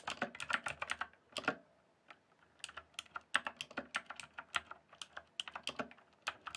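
A full-size RGB-backlit plastic mechanical computer keyboard, with hollow keys on a solid base, is typed and tapped with fingertips. Bursts of quick, sharp, bright clacks come in irregular runs, with a brief lull near the two-second mark. Each keystroke dies away almost instantly, with little low end.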